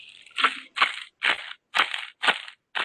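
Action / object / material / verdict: shake / ceremonial rattle with beads inside / beads / none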